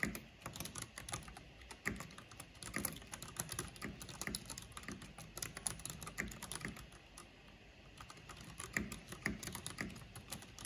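Long painted fingernails and fingertips rapidly tap the keys of a full-size black plastic mechanical computer keyboard with a purple backlight and a hollow housing. The result is a dense, steady stream of short, bright clicks and clacks over a low, hollow thud, each tap dying away almost instantly. There is a brief softer lull near the eight-second mark before the tapping picks up again.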